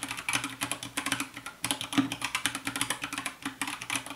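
Fast fingertip typing with both hands on a compact 60% white plastic mechanical keyboard with a hollow case, under purple light, gives about thirty quick, bright, clacky keystrokes with a short pause near the middle. Each click dies away almost at once, over a faint, steady low musical tone.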